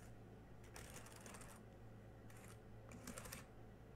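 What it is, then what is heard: Plastic laptop keyboard being typed on. Fingertips type with both hands on the black plastic keys of a small silver laptop, then one hand presses keys. The result is quiet bursts of bright, clicky tapping in clusters over a steady low hum.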